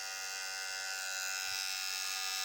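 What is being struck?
Nothing is struck.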